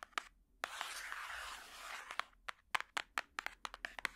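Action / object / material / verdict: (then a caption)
tap / hardcover book cover / cardboard / none. A large hardcover picture book lies with its back cover flat and is tapped with plastic finger picks worn on the fingertips. A few sharp, clicky taps lead into a soft, hissy scratching across the cover, then a quick run of crisp, bright taps with very little ring.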